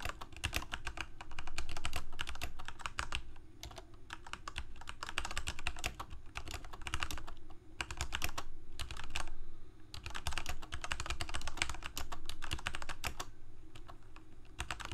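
Both hands type rapidly with their fingertips on a full-size black plastic Corsair K68 mechanical keyboard with Cherry MX Red switches and blue backlit keycaps, resting on a white desk. The result is a dense, uneven stream of short, sharp key clacks with brief pauses, over a steady low hum.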